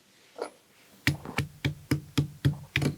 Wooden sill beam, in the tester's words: That's a wood beam. It sounds like cardboard.